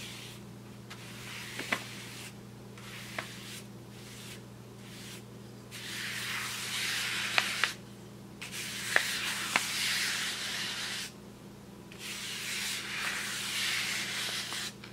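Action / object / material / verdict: scrape / kraft paper shopping bag / paper / none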